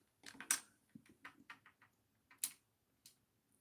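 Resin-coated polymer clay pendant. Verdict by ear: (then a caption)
Hard. A fingernail taps on the cured resin coating of a polymer clay bat-wing pendant, producing a series of light, sharp ticks with almost no ring. The crisp clicking shows the resin layer is hard and glossy.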